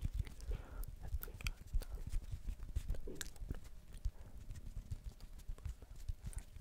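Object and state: Plastic ball.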